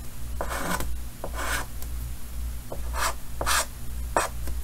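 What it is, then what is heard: Chalk drawing on a chalkboard. White chalk held in the fingers draws short strokes on the upper right of a large, solid painted chalkboard set in a green wooden frame. Each stroke gives a dry, raspy scratch with a bright, hissy edge. A steady low hum runs underneath the whole time.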